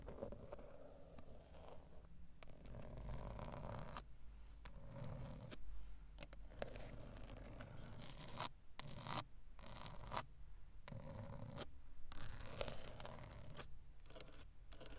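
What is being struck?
Hard grained plastic airbag cover on a steering wheel.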